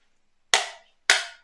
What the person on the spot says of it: Ne sonne pas du tout !